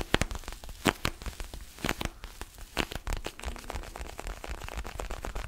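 Fingertips and nails scratch and tap the pebbled rubber surface of a small orange mini basketball with black seams, held close to the microphone. The result is a dense run of dry, crackly scratching broken by sharp, bright clicks that stop instantly, over a soft low rumble.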